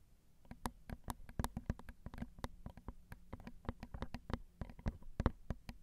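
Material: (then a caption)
Metal. Long acrylic nails tap the crossed silver metal X/Y microphone capsules on a Zoom recorder, which are small and hollow. Many quick, dry clicks patter irregularly at an uneven pace, each fading almost instantly over a low, dull thud.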